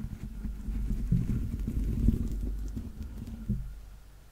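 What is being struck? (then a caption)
Stuffed plush toy foot with a textured rubber sole. Fingernails tap and scratch the grey, rubber-dotted textured sole on the stuffed foot of a yellow Teletubby plush held close to the mic. The sound is a soft, muffled run of dull, low thumps and rubbing scrapes with almost no high end, with a few stronger taps standing out before it fades quieter toward the end.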